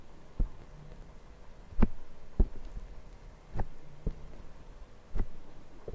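Fingertips lightly tap and scratch with both hands on the black foam windscreen of a Zoom recorder's microphone. Six soft, muffled low thumps sound, each dying away at once, with quiet scratchy rustling and a faint low hum between them.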